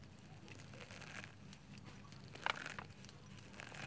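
Fingertips dig into a heap of white grated soap shreds in a green bowl, with a grater edge nearby. Soft, dry crunching and crinkling runs throughout over a faint low hum, with a burst of sharper, brighter crackles midway.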